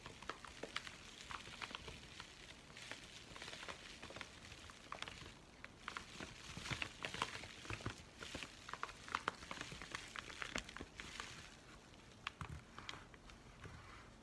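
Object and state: Kraft paper padded mailer.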